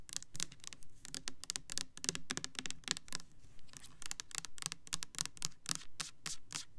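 Long nails rub and scratch the side of a clear plastic Bath and Body Works Kitchen Lemon foaming hand soap bottle filled with yellow liquid. A quick, uneven run of short, dry, bright scratching bursts with a faint low undertone continues throughout.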